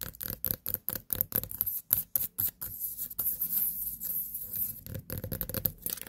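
Long nails tap near the top of a small white pumpkin with a long stem standing on a table. They make quick, dry, clicky taps with a hollow low thump and almost no ring, about four per second. The taps blur into a softer, continuous scratchy rustle in the middle and return as sharper taps at the end.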